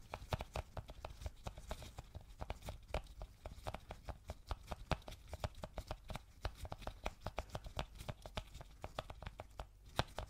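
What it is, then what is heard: Cardboard box tapped with fingertips. Gloved fingertips tap rapidly on a small, hollow white cardboard Apple product box, producing a dense run of dozens of quick, dull, low-heavy taps with almost no ring after each hit.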